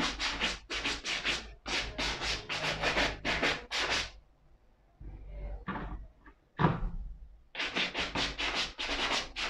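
A wooden bristle brush is swept over the heel and upper of a black suede leather ankle boot held in hand. It makes a rapid series of bright, dry, hissing scrubbing strokes, then a quieter pause with a few softer scrapes, before the brisk brushing resumes.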